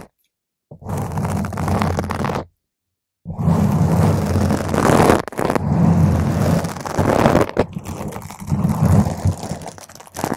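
A round purple foam microphone windscreen is scratched with a single nail, then with long nails from both hands around its sides. It makes a dense, muffled, low-heavy scratching rumble: a short burst, a brief silence, then a longer stretch of continuous scraping that swells and dips.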